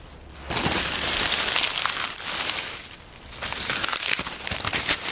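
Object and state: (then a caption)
Pile of dry oak leaves. Hands crumple and press a heap of dry brown oak leaves on a wooden table with palms and fingers. Two bursts of dense, bright crinkling and crackling, separated by a brief quieter lull, are heard with almost no low end.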